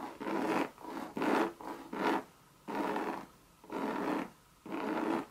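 Long red nails scratch the coated Monogram canvas and rim of a hollow Louis Vuitton bucket bag. The scratches come as a series of rough, rasping strokes with a low-mid body around 300 Hz, each stopping short with brief gaps between.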